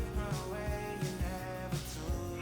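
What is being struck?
Nothing is struck.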